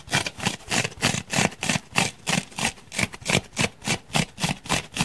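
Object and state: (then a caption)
Foam block being scratched. Fingernails scratch and dig into the damaged surface of a solid grey open-cell foam block held in the hand. Rapid, fairly regular rasping strokes come about three per second, each a bright, crackly burst with a soft low thump underneath.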